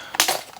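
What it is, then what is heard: Full bag of plastic building bricks. The sixth parts bag of the LEGO Super Mario 2023 Piranha Plant set 71426, a plastic bag of plastic building pieces, is shaken. The pieces give a short, bright rattling clink with no low end that fades within about half a second. The bag sounds full.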